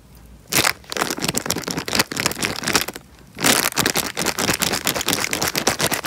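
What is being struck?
Small plastic bag filled with water.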